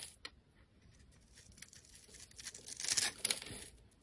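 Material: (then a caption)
Soap. A blade shaves and chips flakes from the surface of a solid, embossed orange-pink soap bar held in the hand. Quiet, bright, crisp scraping strokes grow gradually louder, peaking near the end before easing off.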